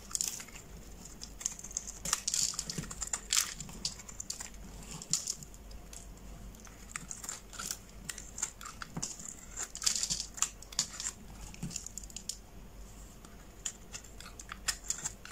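A metal blade scrapes and shaves the surface of a hand-sized, solid pale green bar of soap held in the palm, producing curls and flakes. The sound is a dense run of crisp, dry scraping and crackling ticks, bright and high-pitched with little low end, coming in uneven bursts throughout.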